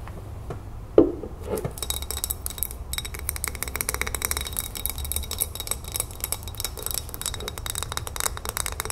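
Long nails tap quickly on the glass sides and the label of a full glass salsa jar held in both hands. A single sharp clink near the start gives way to a steady stream of fast, light, bright clicks and faint scratching over a low background hum.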